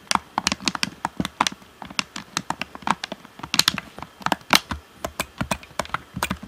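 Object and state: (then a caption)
Plastic game controller. Fingertips tap the shell of a hollow black plastic Xbox One controller and press its buttons and d-pad. About thirty quick, dry, bright clicks and taps come in an irregular run, each dying away almost instantly.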